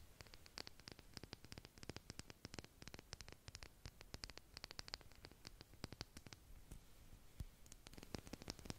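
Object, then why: Plastic makeup brush handle. Long pointed purple nails tap and scratch along a large white plastic makeup brush handle with a metal ferrule and soft bristles, held in both hands. Rapid, dry, sharp clicks come in dense irregular bursts over a soft scratchy hiss, each tap bright on top with a dull low knock. The taps stop almost instantly, keeping the whole clip quiet and crisp.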